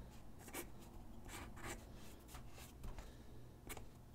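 A graphite pencil sketches on a single white sheet of paper lying on a wooden desk, its tip scratching across the paper in a series of short, bright strokes. The strokes sit over a steady, quiet low hum.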